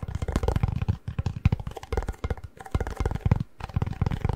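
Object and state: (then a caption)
Cardboard chip tube, hollow. Fingertips tap and drum rapidly on the plastic lid and cardboard body of a hollow Pringles chip can, held tilted. The result is a quick, uneven run of dull, low, hollow thumps that stop short with almost no ring, broken by a few brief pauses.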